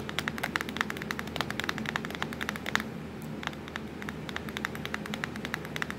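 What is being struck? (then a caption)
Plastic laptop keyboard keys. Long acrylic nails tap rapidly on the black plastic keys of a laptop keyboard, near the Ctrl, Fn and Windows keys. The result is a dense run of short, bright clicks with a brief lull around the middle, over a low, steady hum.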